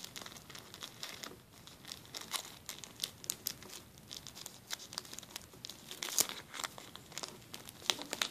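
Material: Plastic.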